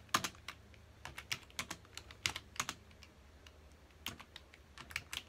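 A full-size black plastic computer keyboard on a dark desk has its keys pressed rapidly by the fingertips of both hands. Quick, bright plastic taps and clicks come in irregular bursts with brief quiet gaps between them, each tap dying away almost instantly.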